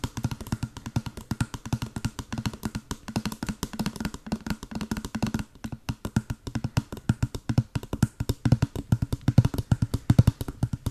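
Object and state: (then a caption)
Small cardboard box. A small white printed cardboard box, hollow and held close to the mic, is tapped rapidly with long blue acrylic nails. The result is a fast, continuous run of short, dry, hollow knocks with a low body around 120 Hz and almost no ring, plus a brief pause around the middle.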